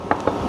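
A metal carburetor part, a comparison piece for a Harley carburetor, is shaken by hand and gives no rattle. Only two dull, low-mid knocks are heard against a quiet background. Unlike the other part that rattled, this one sounds normal.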